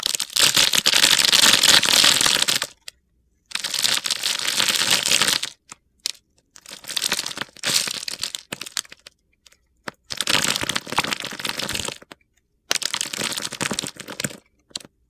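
A solid purple Dial bar of soap, cross-hatch scored and held in the hand, is shaved with a utility knife blade into crumbly flakes. Bursts of dry, gritty scraping and crackling come in several long passes separated by short silences. The sound is bright and hissy, with little low end.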